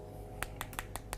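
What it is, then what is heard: Glass phone back panel. Five light taps on the glass back panel of a Vivo S1 smartphone give short, bright clicks that die away almost instantly over a low steady hum. The back sounds like glass, as expected.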